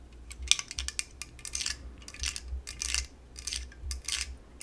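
Long yellow nails tap on the top and sides of an aluminum La Croix drink can, giving quick, bright, dry clicks with almost no ring. Some longer, hissy brushing bursts mix in, over a faint low hum.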